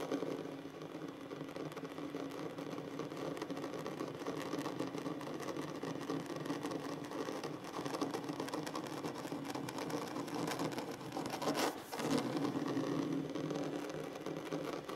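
Fingertips and nails tap and scratch across a large solid wooden tabletop in a steady, dense stream of soft clicks and rasping strokes, centered in the low-mid range. A brief, louder, brighter scrape stands out near the 12-second mark before the even tapping resumes.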